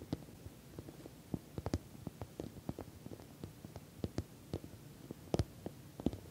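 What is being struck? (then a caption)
Padded patent vinyl cosmetic pouch. Long nails tap on the sides of a puffy, filled orange glossy patent vinyl cosmetic pouch with a metal logo plate. About eighteen quiet, short, dull taps are heard in an irregular rhythm, each dying away almost instantly, with most of the sound sitting low.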